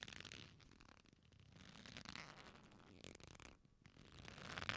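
A black leather belt with a flat solid strap is folded, then pulled straight between both hands. Quiet, bright rubbing and creaking swell and fade as the leather stretches, with short scratchy crackles throughout and a louder strain near the end.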